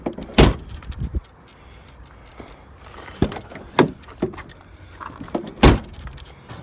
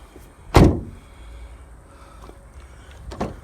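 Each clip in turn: First: solid-sounding steel truck door. Second: car door of thin sheet metal, cheap-sounding.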